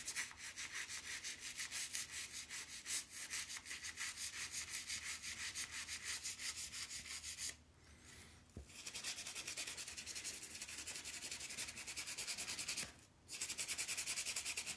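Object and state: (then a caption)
Steel golf iron head being scrubbed. A solid steel golf iron head, held in one hand, is scrubbed briskly with a toothbrush while soap foam covers its face. The rapid back-and-forth strokes make a bright, hissing bristle scratch with almost no low end. The scrubbing pauses briefly about a third of the way in, and again near the end.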